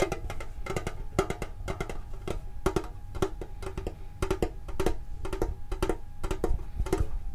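A hand-sized, hollow, hexagonal printed metal Pokemon card tin with its lid closed is held in both hands and tapped with the fingertips. The taps come in quick, uneven clusters of short, dull clicks with a faint hollow tone and a low thumping undertone, each dying away almost at once.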